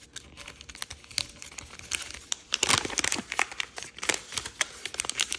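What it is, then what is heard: Origami paper sheet. A small square of thin, triangle-patterned origami paper is folded by hand while fingertips and nails crease and rub it. The result is crisp, bright crinkling and rustling in quick, dry bursts, with a louder flurry of crackles in the middle of the clip.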